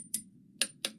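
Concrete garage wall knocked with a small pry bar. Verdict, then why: Hollow. A small pry bar knocks three times on a concrete garage wall, each tap a short, bright, high-pitched click with almost no low end and a very brief ring. The spot sounds hollow, marking delaminated concrete near a large crack where big chunks are coming off over a wide area.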